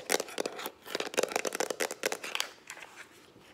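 Long acrylic nails tap fast on the plastic body of a hollow, hand-held lilac plastic Instax instant camera. Eleven quick, dry, clicky taps with a bright edge and a hollow mid-range knock stop instantly with no ring. The rapid run thins out and softens toward the end.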